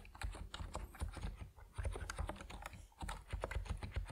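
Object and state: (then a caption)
Plastic mechanical keyboard being typed on. Fingertips type steadily on an Epomaker NiZ Plum Atom 68, a compact plastic mechanical keyboard with white and purple PBT keycaps. The result is a quick, uneven stream of short, deep, muted clacks with little high ring, and a brief slowdown near the middle.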